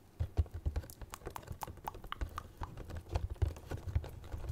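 A small Star Wars Funko Pop box of printed cardboard with a clear plastic window and a figure inside is held close in both hands and tapped rapidly with fingertips and nails on its front and sides. The result is a quick, uneven patter of dull, hollow low thumps mixed with short, dry clicks that die away almost instantly.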